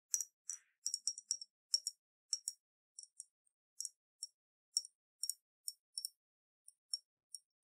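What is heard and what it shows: Long nails tap and click on a round clear glass bottle, about half full of water with a silver metal cap, while it is held and tilted. The result is an uneven run of quiet, bright, glassy clicks with high ringing tones that die away almost instantly, with no low end.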